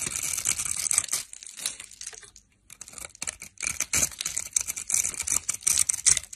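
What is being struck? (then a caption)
Bar of soap cut with a metal blade. A metal blade scrapes and cuts a solid orange bar of dry soap, held in the hand, into small cubes and crumbs. The result is a dense stream of crisp, bright scraping and crunching, briefly dropping to near silence just before the midpoint before the cutting resumes.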